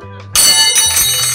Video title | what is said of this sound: PANG-MALAKASAN NA SURPLUS MASSAGE CHAIR ORIGINAL GALING JAPAN GOOD AS NEW MABIBILI MO NG MURA DITO! | Matining. Basta maganda yung tunog niya.